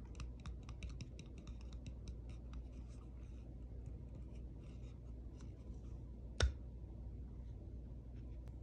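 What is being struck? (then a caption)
Small plastic compact hair brush with a hollow case. Long pink-painted nails tap and scratch the smooth, glossy lid of a small round pink plastic compact hair brush (man-maru) with a hollow case, held in the hand, before the case is opened. A quick run of light, bright ticks and scratches plays over a low steady hum. A single sharper, louder click stands out near the end.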